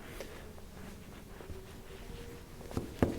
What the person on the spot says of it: Hence you have the columns, and although they look like marble, if you knock on them, you can see that they are hollow.